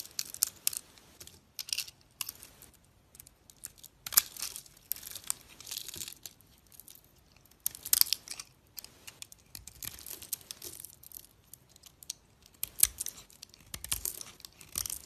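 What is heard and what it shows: A box-cutter blade scrapes and cuts into a solid white soap bar with a pink glitter coating, producing curls and small cubes. Quiet, bright, crisp scraping and crackling strokes come in irregular bursts, with almost no low end and no ring after each cut.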